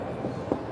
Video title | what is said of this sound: Fontainebleau Las Vegas 1st Impressions - Tier Match Program Food Court Vlog | hollow plastic pieces. Very hollow plastic pieces.